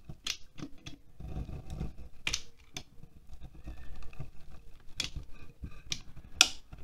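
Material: Wax.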